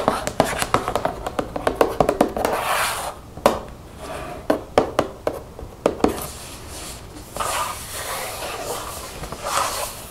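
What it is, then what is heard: Plastic shampoo bottle, mostly empty. A translucent plastic baby shampoo bottle, 532 ml and mostly empty, lies on its side and is tapped and scratched with long fingernails. A quick run of sharp, hollow clicking taps comes first, then scattered single taps. Softer, continuous scratching rubs finish the clip.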